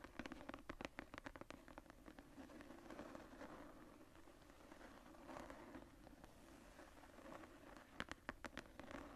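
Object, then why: Tooled leather journal cover. Long painted nails and fingertips tap and scratch the textured cover of a medium brown tooled-leather journal with a floral emboss, lying closed on a table. Quiet, crisp clicking taps come in quick bursts at the start and again near the end, with a soft, continuous scratchy rasp over the embossed leather in between.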